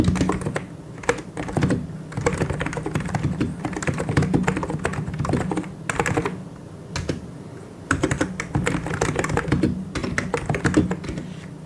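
A full-size white and grey mechanical keyboard with plastic keycaps and hollow key switches is typed on with the fingertips of both hands. The rapid taps come as dense bursts with brief pauses between them. The tone is deep and hollow, with little bright click.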